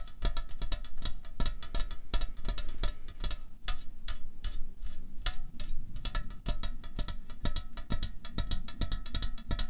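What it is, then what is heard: Aluminium drink can. Fingernails tap rapidly on a slim, hollow aluminium Coca-Cola Cherry can lying on a tablecloth. The result is a fast, steady stream of short, dry clicks with a faint bright metallic ring over a soft low thud.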